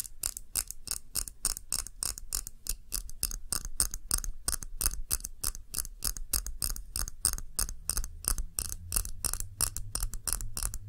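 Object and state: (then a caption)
Glass candle jar tapped with nails. A short glass tumbler filled with red candle wax is held in both hands and tapped with long nails, giving about fifty quick, evenly spaced, bright clicking taps over roughly eleven seconds. Each tap is sharp and dies away almost at once, with a faint low hum running underneath.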